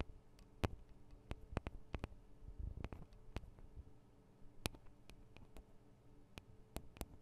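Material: Metal.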